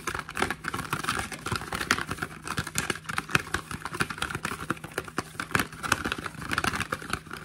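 A small, hollow, printed cardboard product box is held in both hands and turned while fingertips and short nails tap and scratch across its surface. The result is a dense run of quick, dry, papery taps and scrapes with no ring, over a faint steady low hum.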